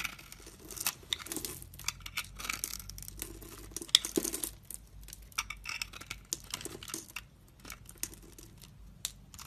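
A utility knife blade scores a solid lilac soap bar, held in a palm with long red nails, into a grid and shaves it into small cubes. Crisp, bright scraping and cutting sounds come in quick, dry bursts with almost no ring and little low end. A loose pile of small soap cubes is left behind.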